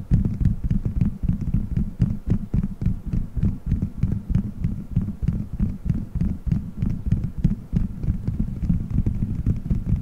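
Fingertips squeeze, rub and scratch colorful gelatin gummy bears stuck all over a solid, dome-shaped microphone head. The result is a dense, muffled, low throbbing of sticky squishes and thumps, dotted with quick, irregular clicks that fade almost instantly. It has no bright content.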